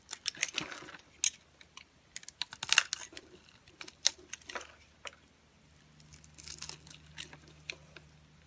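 A metal utility knife blade scrapes crunchy pieces off a solid, pale yellow, dry translucent soap bar that has been scored into cubes and is held in fingers with long nails. Sharp, bright, dry crunches and crackles come in quick, irregular bursts, each dying away at once. They thin out and grow quieter toward the end over a faint low hum.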